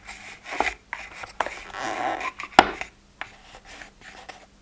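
A plastic weekly pill organizer with its empty compartments open has its lids scratched and tapped by fingertips and nails. Dry scratching and rubbing run between several sharp clicks, with the loudest tap near the middle. Each sound is bright and stops almost at once.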